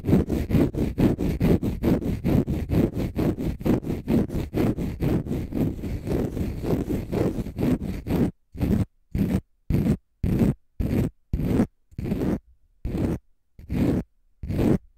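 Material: Konjac fibre.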